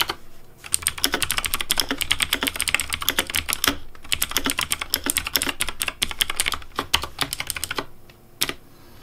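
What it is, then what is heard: Plastic mechanical keyboard. Fingertips type rapidly on a pink Razer Deathadder V3 Pink plastic mechanical keyboard with hollow plastic keycaps, producing a dense run of bright, sharp clacks with a slight low thump. The typing comes in bursts with short pauses and ends with a lone keystroke.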